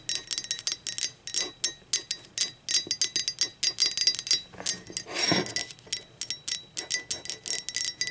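Long pointed acrylic nails tap rapidly on the sides of a blue speckled ceramic mug that sits upside down and hollow. Dozens of quick, bright clicks each ring with a short, high tone, and a brief brushing swell comes just past the midpoint.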